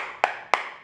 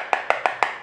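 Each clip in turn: First: ceramic floor tile, well bonded. Second: hollow-sounding loose floor tile.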